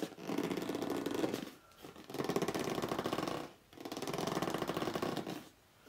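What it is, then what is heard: Cardboard box scratched with fingernails. Fingertips and short nails scratch and grip the front edge and top of a hollow red corrugated cardboard box lying flat, in quick strokes. Three bursts of rapid, rasping, squeaky scraping come with brief pauses between them, centered in the low-mid range with bright papery texture above.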